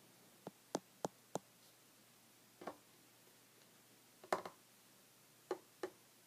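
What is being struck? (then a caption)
Wooden tabletop. Short red fingernails and fingertips tap a solid, flat, light wooden tabletop nine times in irregular groups. Each tap is a dry, quiet knock with a mid-pitched body and a brief bright click that dies away almost instantly. Near-silence fills the pauses between taps.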